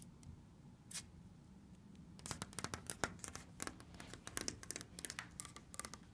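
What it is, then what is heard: Wood-laminate cabinet panels. Fingers with red-painted nails tap and scratch the orange wood-laminate panels of a solid cabinet with a black trim strip. A few sparse clicks come first, then around 2 seconds in a dense run of quick, crisp nail taps and scrapes begins and continues to the end, each tap dying away almost at once.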